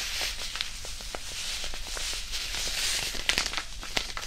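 A small white disposable hand warmer, a non-woven fabric pouch filled with iron powder, is held to the side of the mic and squeezed and crumpled with the fingertips. It makes a steady, bright, grainy rustle with scattered sharp crackles and ticks, louder toward the end.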